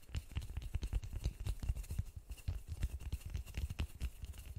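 White-gloved fingertips tap and pat a large white polystyrene foam sphere held in both hands. About two dozen soft, dull thumps come in a steady, uneven patter; they are deep and muffled, with a faint brighter click on some taps. Each one dies away almost at once.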